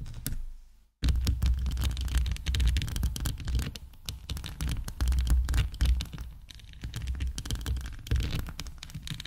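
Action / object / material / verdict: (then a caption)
tap / plastic rhinestone-covered microphone / plastic / none. Long acrylic nails rapidly tap, click and scratch across a hand-sized, hollow microphone body covered in rows of clear heart-shaped plastic rhinestones. The result is a dense stream of sharp clicks over a heavy, boomy low thumping. The sound drops to near silence just before one second, then resumes.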